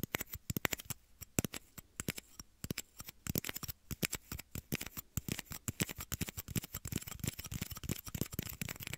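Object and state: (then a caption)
Plastic shot glass tapping. Small, hollow, empty clear plastic shot glasses held near the ears of a microphone are tapped and scratched with fingertips and short nails. The result is a rapid, irregular stream of dozens of dry, clicky taps that die away almost instantly, with soft low thumps and hissy, bright scratching between them.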